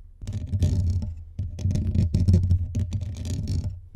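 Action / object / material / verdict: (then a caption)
scrape / metal mesh microphone grille / metal mesh / none. Fingertips and nails from both hands scratch fast over the rounded, hollow metal mesh grille of a blue USB condenser microphone on a stand. The sound is a dense, deep, rumbling scrape centered low, with faint bright crackle on top. It comes in rough bursts broken by brief dips before the scratching resumes.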